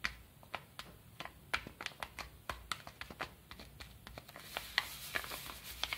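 Fingertips scratch and rub the surface of a small brown kraft paper padded mailer with a stamp and stickers, lying flat. The result is a rapid series of short, dry, crisp scratches and ticks, bright and papery with little low end, over a faint hiss.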